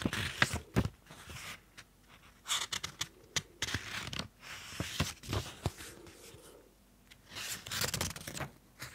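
Fingertips turn and flip the white paper pages of an open small pink notebook. Crisp, bright rustles and sharp papery flicks come in irregular bursts with short quiet gaps between them.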